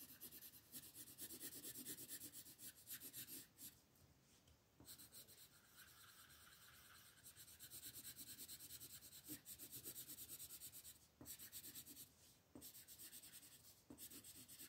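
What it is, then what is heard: Colored pencil shading a paper page. A red wooden colored pencil shades the bottom area of a flat, thin paper coloring book page on a table with rubbing strokes, while the other hand holds the page down. Quiet, bright, scratchy rasping comes in steady back-and-forth bursts, broken by short pauses between runs of strokes.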